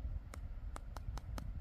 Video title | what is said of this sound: Google Pixel 8a #deballage #unboxing | juste derrière là je trouve que ça ça sonne un tout petit peu creux